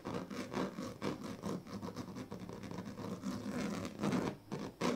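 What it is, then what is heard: Woven plastic mat scratched. The tail of a pink plastic comb scratches along the strips of a large, flat woven plastic sleeping mat. It makes a steady run of raspy, rhythmic scratching strokes with a low-mid, slightly tonal buzz. The strokes swell and fade in quick succession, with a brief pause near the end before one final stroke.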